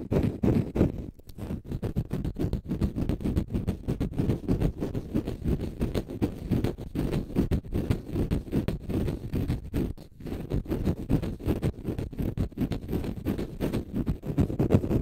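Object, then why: Konjac sponge. A palm-sized, solid, porous pale-green dry konjac sponge is held in the hands and scratched with short fingernails. The result is a dense, rapid, irregular run of dull, low-heavy scratching with almost no bright content, broken by brief pauses near one second and ten seconds.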